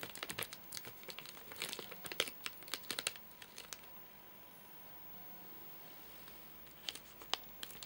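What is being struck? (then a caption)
Nougat bar in plastic wrapper. Fingertips and short nails tap and scratch the crinkly plastic wrapper of a full, flat rectangular Soft Nougat bar, giving bright, sharp crinkles and clicks. The busy tapping fills the first four seconds, falls to near silence, then returns with a few crisp crinkles at the end.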